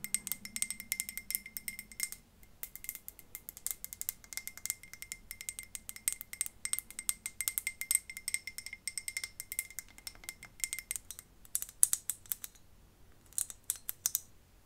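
Long fingernails tap and scratch quickly over a glass decorative light bulb with stones inside, held sideways, on both the glass and its metal cap. The result is a dense run of bright, dry clicks and faint rattles that die away almost at once, with short pauses near 2 and 11 seconds and a longer gap before a final burst of taps.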